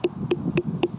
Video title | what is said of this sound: How I Grow Watermelons From Seed to Harvest - ft. Two Awesome Varieties | a quite a deep hollow sort of sound so that sounds nice and deep and good